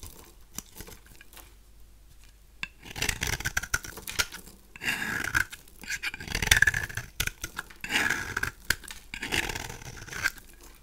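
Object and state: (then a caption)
Dry bar of soap. A knife blade scrapes across a cream-colored, solid rectangular bar of dry soap held in one hand, shaving curls off its surface. After a few faint ticks, bursts of dry, crisp scraping and shaving start at about three seconds, mostly in the mids and highs. The bursts come in uneven strokes with brief quiet gaps between them.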